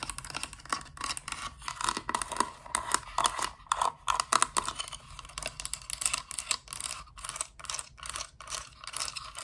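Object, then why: Hard plastic toy playset. A thin-walled, hollow hard-plastic Littlest Pet Shop playset piece with blue walls, an orange roof and a yellow base is tapped and scratched with long dark acrylic nails. Rapid, dry clicks and scratchy strokes, bright with a hollow plastic tone around 1.3 kHz, come in uneven bursts with almost no ring.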